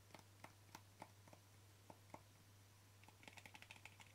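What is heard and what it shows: Short fingernails tap the lid and rim of a small white plastic jar with a yellow label, held in one hand, making about sixteen quick, dry clicks. The taps are scattered at first, then come in a faster run toward the end. Each has a short, hollow ring around 900 Hz with bright edges over a steady low hum.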